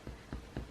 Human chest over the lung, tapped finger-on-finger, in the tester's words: o să auziți că sună gol. Da? Asta e normal. Să auziți așa, ca și cum dai într-un butoi